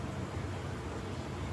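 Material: Nothing is struck.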